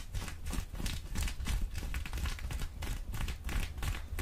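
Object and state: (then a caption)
Denim jeans being scratched. Folded, soft blue cotton denim jeans are held up and scratched with the long orange acrylic nails of both hands. The result is a dense, fast run of rough, bright scratching strokes over a steady low rumble, with possible mouth sounds mixed in.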